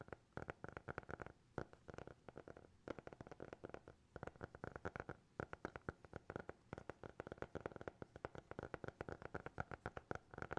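A small black hardcover notebook, closed and solid, is held in both hands and tapped with fingertips and nails. It gives a long run of quick, soft, dry taps in uneven bursts, each dying away almost instantly, with a muted hollow tone around 380 Hz.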